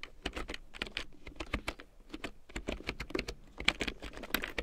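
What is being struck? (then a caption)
Plastic computer keyboard. A full-size large print keyboard with a black plastic frame and big yellow plastic keycaps, lying on faux fur, is typed on with long painted nails and fingertips. A rapid, uneven run of bright, clicky plastic taps is heard, each dying away almost at once over a faint low thud.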